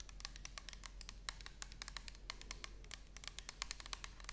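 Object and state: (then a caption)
Plastic bottle tapped with nails. Long nails tap and scratch the surface of an orange plastic toner bottle with a barcode label, held horizontally. The result is a quiet, rapid, irregular run of crisp, bright clicks that stop instantly, over a faint, steady low hum.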